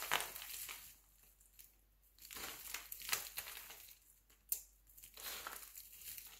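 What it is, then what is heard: Glycerin soap flakes being crushed. Fingertips pinch, crumble and crush brittle flakes from a large pile of mixed-color glycerin soap shavings (yellow, green and purple) resting on a white surface. Bright, crisp crinkling and crunching comes in several bursts separated by quiet pauses, with a few sharp snaps standing out.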